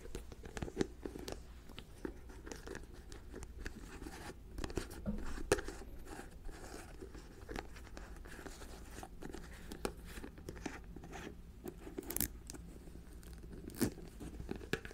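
Long nails lift, tap and recap the white plastic lid on a clear plastic jar full of white granules, held close to the microphone. A steady stream of soft, dry plastic clicks, crinkly scrapes and crunchy rustles is heard, with occasional sharper taps that die away almost instantly.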